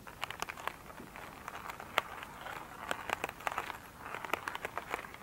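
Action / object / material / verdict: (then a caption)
scrape / glitter-covered foam sponge / foam / none. Long pointed nails scratch an elongated oval, soft but solid foam sponge with a glittery surface lying on a table. The result is a quiet, dry, crackly scratching dotted with many sharp, bright ticks and clicks. Most of the sound sits in the mids and highs, with almost no low end.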